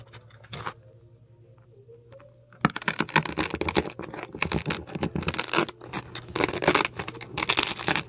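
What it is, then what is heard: Styrofoam ball being scraped. A metal scoop scrapes foam balls out of a large polystyrene foam ball with carved holes. After a quiet stretch with a low steady hum and one brief scrape, dense, rapid crunching and squeaky scraping bursts follow with bright, gritty texture. The crunches come in quick clusters separated by short pauses until the end.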